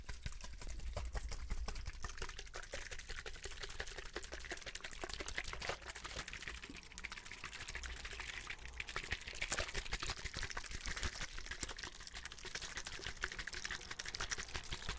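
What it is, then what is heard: Plastic water bottle. A medium-size, hollow, clear plastic drinking bottle holding some liquid is held close to the mic and tapped, squeezed and shaken with the fingertips. The result is a dense, steady stream of quick, bright plastic clicks and crinkles over a low rumble, with faint liquid sloshing.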